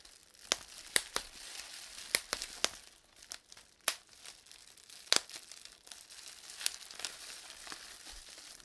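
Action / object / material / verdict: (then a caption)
tap / plastic bubble wrap / plastic / none. A small piece of clear plastic bubble wrap has its individual air bubbles pinched and popped between fingertips and thumb. Sharp, bright pops ring out at irregular intervals over a soft, steady crinkling of the plastic. Each pop dies away almost instantly.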